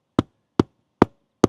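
A mallet lightly taps roof decking four times near a marked spot, giving short, dull knocks centered around 250 Hz that die away almost instantly. The taps sound less hollow here, suggesting a wooden rafter lies underneath the deck at this spot.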